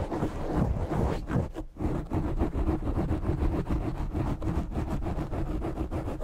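Short fingernails scratch over the black foam windscreen of a condenser microphone. The result is a steady, dense, low-heavy rustling rumble with rapid ridged pulses, briefly dipping quieter just before the two-second mark before continuing.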